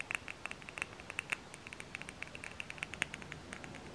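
Fingernails tap around a labeled glass jar candle filled with wax while it is held in both hands. The rapid, irregular taps give quiet, bright, glassy clicks centered near 2.6 kHz, each dying out almost at once.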